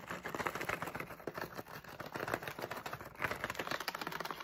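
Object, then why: Flexible plastic candy pouch with candies. A medium, flexible plastic SweeTARTS candy pouch with candies inside is held in the hands while fingertips crinkle, squeeze and shake it. Dense, rapid crackling and rustling fills the clip in quick overlapping bursts, brightest in the upper midrange, with the candies faintly rattling underneath. The crinkles stop almost instantly, with barely any ring after each one.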